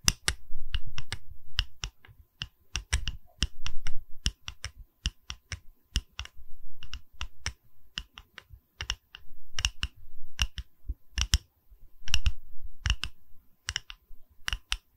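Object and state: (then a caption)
Wooden log slice tapped with fingernails. A small, solid round slice of tree trunk with its bark edge, used as a wooden pedestal, is held in one hand and tapped by the long red acrylic nails of the other hand, whose fingers wear rings, close to a Tascam microphone. Quick, dry, clicky taps arrive in irregular bursts and flurries, each with a bright edge over a soft low knock. Every tap dies away almost instantly.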